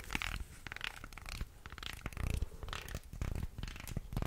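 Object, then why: Small carved wooden guiro scraped with a wooden stick. A small carved light-wood, shark-shaped guiro with ridges is moved around close to the microphone while a thin wooden stick scrapes its grooves. The result is a series of dry, ratcheting rasps in uneven bursts, with heavy low-end rumble and brief bright clicks.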